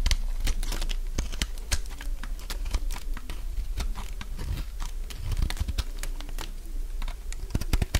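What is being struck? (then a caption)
Soap bar shaved with a blade. A solid, dry beige soap bar held in the hand is shaved into curls with a metal utility blade. Rapid, crisp, crunchy cutting snaps and scrapes follow one another densely over a steady low rumble, each short bright click dying away almost instantly.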